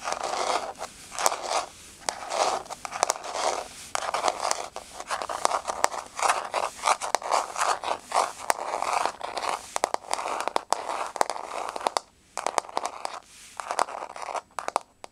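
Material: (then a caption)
Wood. Long blue-painted fingernails, fingers spread, scratch and tap on a flat, solid wood-grain floor. Quick dry scraping sweeps in the mid range mix with sharp clicking nail taps that die away almost instantly, in bursts with brief pauses.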